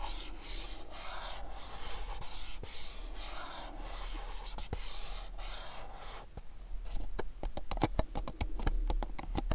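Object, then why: Small printed cardboard box. Fingertips and nails rub and scratch the surfaces of a small, dark, printed cardboard candle box held in the hands. Soft, breathy rubbing swells and fades for the first six seconds, then gives way to a quick run of sharp, dry scratching clicks.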